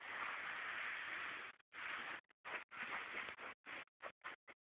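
Fingertips and short nails of one hand scratch and rub the surface of light-wash cotton denim jeans lying flat, just below the visible back pocket. A long, steady scratching hiss gives way to a series of shorter, separate rubbing strokes. The sound is quiet, dry and breathy, centered around 2 kHz with almost no low end.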